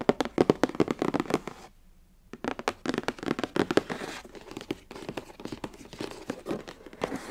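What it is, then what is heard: Cardboard box. Both hands tap quickly with long acrylic nails and fingertips on the top of a long, rectangular, printed cardboard box for a Mermade hair waver, which lies flat, closed and hollow. The result is a rapid run of short, dry, clicky taps with a hollow body, broken by a brief pause of about half a second near the two-second mark before the tapping resumes.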